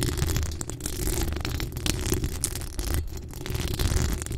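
Long acrylic nails scratch the hollow steel mesh grille of a pink decorated microphone. The result is a continuous, dense scratching rasp with a heavy low rumble around 86 Hz and faint bright scraping above it, without clearly separate strokes.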